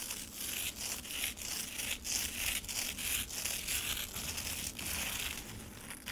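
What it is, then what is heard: Frozen lemonade ice in a plastic tray, scratched. A slab of frozen lemonade in a black plastic tray, with crushed ice bits on its surface, is scratched and clawed with long acrylic nails. Bright, gritty crunching and scraping strokes repeat in quick, uneven passes, with short breaks between them and little low end.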